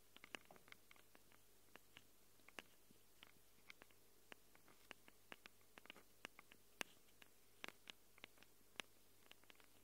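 Long glitter nails scratch and tap the metal mic capsule rings of a small black handheld Tascam recorder. The result is a quiet, irregular patter of sharp, bright clicks and scrapes with almost no ring, over a steady low hum.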